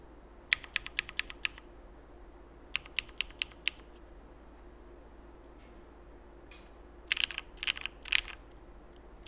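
A Frog mechanical keyboard with cream CRP plastic keycaps, Cherry Black switches and an aluminum plate is typed on slowly with the fingertips, first with one hand, then with both. Its sharp, bright clicks come in three bursts over a low steady hum, with the last burst quicker and more overlapping.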